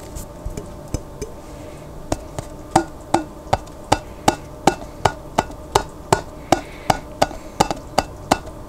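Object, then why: Glass jar containing water. A glass jar containing water is tapped repeatedly, giving short, resonant, wood-block-like knocks with a pitch near 780 Hz. The taps start sparse and quiet, then settle into a steady, louder rhythm of about two and a half taps per second, each dying away almost at once.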